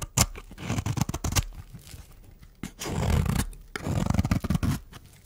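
A metal blade shaves curls off a solid, dry pink rectangular bar of soap held in the hand. Short crisp scrapes and crackles come in quick bursts, with two longer, fuller shaving strokes in the middle and toward the end. The sound is mostly low and crumbly, with brief bright ticks on the sharper cuts.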